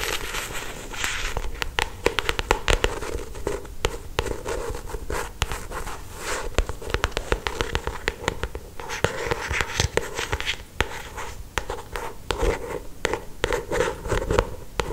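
Long acrylic stiletto nails scratch and trace the lower part of the glossy paper cover of a solid paperback novel. The result is a steady, dense crackle of quick, dry scratching ticks with a mid-range rasp and a low, soft body, and the sound ends almost instantly after each stroke.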